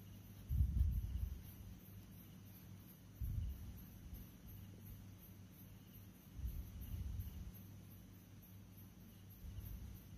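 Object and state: Nothing is struck.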